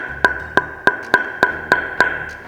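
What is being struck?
Wooden table tennis blade.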